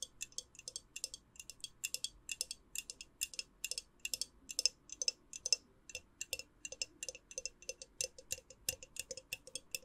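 Long nails tap quickly on the white lid rim and the glass of a small, hollow, clear glass jar holding a lit candle, held in one hand. About fifty short, bright, clicky taps come in uneven bursts, each dying away almost instantly with a faint glassy ring.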